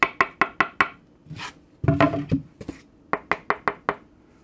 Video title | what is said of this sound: 3-WAY ACTIVE DSP HIFI SPEAKER KIT BUILD VIDEO! SEAS King RO4Y MKIII Von Hertzog's Studio Monitors 🔉🔉 | by knocking on it this is much more dead